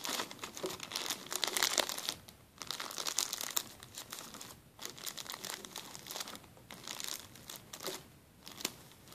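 A clear plastic zip-lock bag on a table is crinkled by hand and then pressed flat with the fingertips. Dense, bright crackling and rustling fills the clip with almost no low end, loudest in the first two seconds before settling into softer, scattered crinkles.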